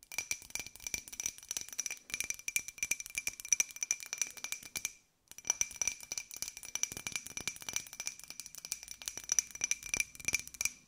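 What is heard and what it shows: A small, hollow, empty white ceramic jar with a pink and gold pineapple print is tapped rapidly with long nails. The result is a dense run of bright, short clinks with a steady high ring. The tapping stops briefly near the middle and then resumes.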